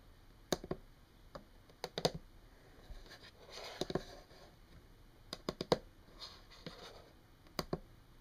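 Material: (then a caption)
Wood. Long painted fingernails tap rapidly on a solid, flat brown wood-grain tabletop, making about 15 short, dry clicks that die away almost instantly, some in quick clusters. Between the taps, soft, breathy scratching patches come and go against a quiet background.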